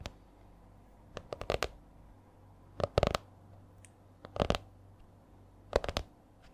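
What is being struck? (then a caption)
Laminated hardcover spiral notebook. Long nails tap on the stiff laminated cover of a purple A4-size spiral notebook held upright, giving short, dry clicks with a hollow midrange knock and bright edges. The taps come in quick, uneven clusters separated by pauses and stop dead with no ring.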